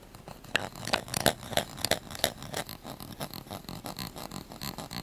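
A small light-blue plastic spoon held in the fingers is tapped and scratched with the fingernails. Quick, sharp, bright clicks come at an irregular fast pace early on, then ease into a softer, steady scratching rhythm with brief dry ticks that die away almost instantly.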